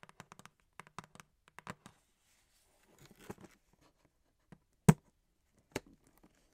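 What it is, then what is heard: Cardboard box tapped with fingernails. Long acrylic nails tap and scratch the top and sides of a printed cardboard box, held in the hands and then set down. A quick run of soft, dull clicks gives way to a brief scratchy rustle, then a few sparser, sharper taps, the loudest near the end. Each tap is short and low-heavy and stops almost at once.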